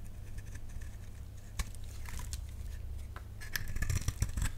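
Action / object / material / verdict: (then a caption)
scrape / bar of soap cut with a blade / soap / none. A utility knife blade cuts into a solid, dry pink bar of soap held in the hand, and crunchy flakes break off. Crisp, bright crunches and short scrapes sit over a steady low hum, growing busier toward the end.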